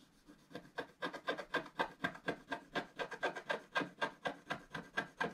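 A wooden stylus tip scratches the lower vase area of a solid, black wax-coated scratch art card in a book lying flat on a table. Quick, dry, raspy strokes come in a steady rhythm of about four per second, with a bright scraping texture. Each stroke ends abruptly with no ring.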